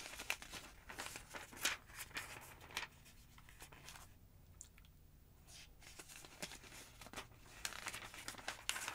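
Thin pages of a large, thick yellow-paged paper phonebook lying open on a wooden table are turned and flipped with long acrylic nails and fingertips. Bright, crisp rustles and crinkles come in quick bursts, with a quieter stretch in the middle before the flipping picks up again.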